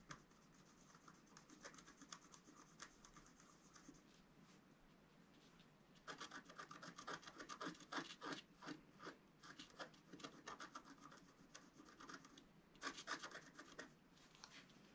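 A wooden stylus scratches hatching into the black coating of a flat, roughly A4 scratch-art sheet lying on a table. Quick, irregular dry rasping strokes are heard, softer in the first few seconds and then louder and busier, with bright scraping texture.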